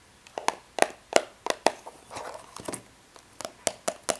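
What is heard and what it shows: Long red nails quickly scratch and tap across the front of a small, hollow, rectangular printed cardboard tea box with embossed foil. About a dozen sharp, dry clicks with a hollow midrange knock and bright edges come at an uneven pace, with a softer rustling scrape in the middle. Each click stops almost instantly with no ring.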